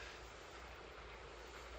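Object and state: Nothing is struck.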